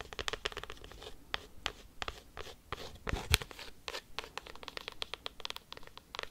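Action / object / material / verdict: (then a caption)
scrape / cork coaster scratched and tapped with metal paperclips / cork / none. A round, flat, solid, palm-sized cork coaster is scratched and tapped quickly with paperclips clipped onto long nails. The result is a fast, uneven run of short, dry clicks and scratchy rasps, bright at the top with a soft low thud under some taps. Each sound dies away almost instantly.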